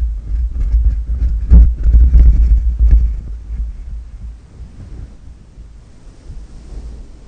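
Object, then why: Knitted yarn microphone cover. Fingernails and fingertips scratch and rub a black, fluffy knitted yarn cover with a shaggy fringe fitted over the grille of a black desktop condenser microphone, then palms cup and rub the soft, hollow covering. The sound is a deep, muffled rumbling and thumping with almost nothing above the low end, loudest in the first three seconds. It then fades into a quieter, steady low rustle.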